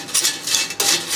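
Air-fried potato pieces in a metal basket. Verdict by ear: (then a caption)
Crispy. Air-fried potato pieces, cooked for 20 minutes until golden and crispy, are shaken or tumbled out of the basket. About four bursts of dry, bright rattling and clattering are heard, with almost no low end and very short ring. The crisp sound shows the potatoes have turned crispy.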